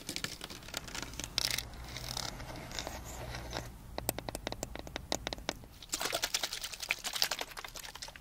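A clear PET plastic drinking bottle with a green cap, about 500 ml and partly filled with water, is held in both hands and tapped and scratched along its ridged sides with long dark-painted nails. Quick, bright crinkling scratches blend into sharp, dry clicking taps that stop instantly, with no ring.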